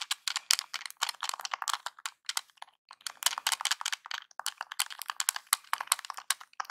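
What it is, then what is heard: Plastic game controller buttons. A small, hollow NES-style plastic game controller is held in the hands while fingertips rapidly press and tap its buttons and D-pad. The result is a dense stream of sharp, bright plastic clicks and taps with almost no low end, each dying away instantly, with a brief quiet pause in the middle.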